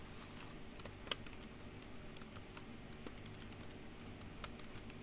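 Long pink acrylic nails and fingertips type and tap on a black plastic full-size computer keyboard with white-lettered keys, hollow keys over a solid base. Quiet, quick, bright clicks and clacks run steadily throughout, with a couple of sharper, louder taps standing out over a low background rumble.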